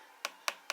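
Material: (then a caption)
Resin composite. Three short, sharp taps on the resin-filled section of a molded composite e-bike frame filled with fiberglass resin give a dry, bright click with almost no ring. The section sounds solid.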